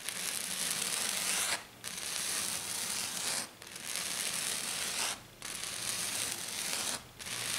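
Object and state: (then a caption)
Glitter-covered sheet being scratched. Both hands with black-painted nails scratch and tap hard and fast on a flat, silver glitter-covered sheet. This makes a dense, bright, hissy rasp that runs in long bursts broken by short pauses.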